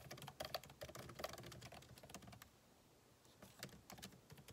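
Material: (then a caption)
Plastic. Fingertips of both hands type rapidly on a solid, backlit MacBook Pro keyboard with plastic keycaps in an aluminum body, resting on a desk. Quick, irregular clicky key taps with short, dry attacks run for about two seconds, pause briefly, then resume in a lighter flurry.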